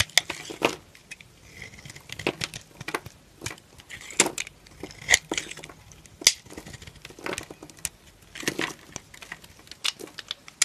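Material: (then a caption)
Soap. A solid pink soap bar held in the hand is shaved with a blade into long thin curls. Bright, crisp scraping and crackling strokes come in an irregular series of short bursts with quiet gaps between them. Each stroke dies away almost instantly with no ring.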